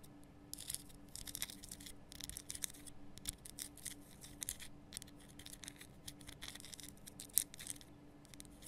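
Long nails scratch the rough surface of a large, glowing pink Himalayan rock salt lamp, a solid salt block cupped in both hands. Quiet bursts of bright, dry, gritty scratching come in uneven clusters over a faint steady low hum. Each scrape stops dead with no ring, and one slightly louder scrape stands out near the end.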